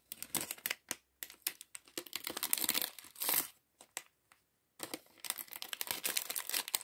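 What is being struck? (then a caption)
Thin plastic bag of plastic bricks. A small, clear, thin plastic polybag, partly full of loose plastic LEGO pieces, is held in one hand and squeezed, rubbed and crinkled with the fingertips of the other. Bright, dry crinkling comes in quick bursts with short silent gaps, while the bricks shift and rattle inside.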